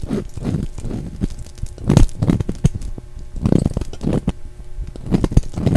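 A solid, translucent orange-and-brown striped bar of soap, held in the hand, is shaved with a utility knife blade. Repeated short, dull scraping and crackling strokes come through, mostly low and muffled with little brightness, each dying away almost at once.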